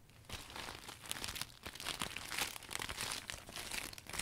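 A new clear polka-dot vinyl umbrella is closed and folded by hand, its thin transparent vinyl crinkling between the ribs. The result is a dense, bright, continuous run of crackly crinkles and small crunches with little low end.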